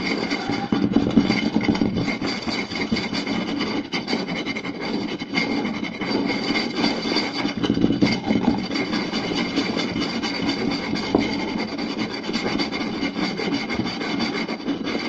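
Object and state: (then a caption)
Wooden plate scratched and tapped. A round solid wooden plate is scratched and tapped quickly by two hands using fingertips and short nails. The result is a dense, continuous rasping scrape with rapid dry taps layered over a woody midrange, plus a bright hiss along the top.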